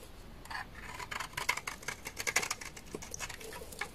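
A utility knife blade shaves a large, solid, beige bar of dry laundry soap. A quick, irregular series of short, crisp scraping cuts with a bright, papery edge rises from a quiet background, each dying away almost at once.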